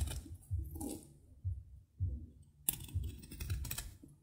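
A metal knife chops and shaves brittle chips off a small, solid piece of dry soap held in the fingers. Soft, dull low thuds repeat at an uneven pace, with short crisp crackles and scraping. Near the end, brighter, hissy shaving bursts appear.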